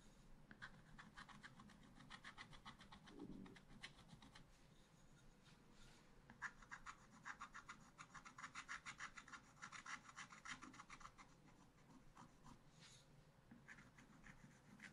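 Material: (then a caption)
Coated paper. A wooden stylus scratches a monkey on the right and the vines into a small spiral-bound pad of black scratch-art paper held at the bottom. The result is a quiet, steady run of short, dry, bright scratching strokes, about three per second in loose rhythm, with a faint low hum underneath.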